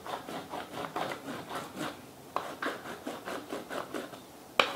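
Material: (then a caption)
Paper, plastic. A purple wax crayon is rubbed sideways in repeated strokes over paper held in a small purple-and-teal plastic Fashion Plates frame, on top of a textured plastic relief plate lying flat on a towel and held down by one hand. Each stroke gives a soft, dry, scratchy rasp in a steady back-and-forth rhythm, with a couple of sharper clicks near the middle and end.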